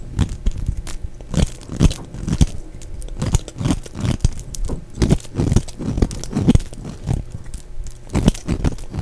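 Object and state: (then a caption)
Dry bar of soap being shaved. A solid, dry, cream-colored bar of soap held in the hand is scraped and shaved with a black snap-off utility knife blade, curling off shavings. It makes a steady run of short, dry crunching and scraping strokes, dull and weighted toward the low end with almost no bright content. Each stroke dies away at once.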